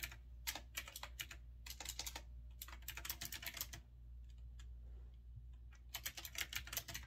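Fingertips type continuously on a grey retro typewriter-style mechanical keyboard with round backlit keycaps, resting on a wooden desk. Rapid bursts of sharp, bright clicks come in quick runs, thin out to a few scattered presses in the middle, then pick up again. A steady low hum sits underneath throughout.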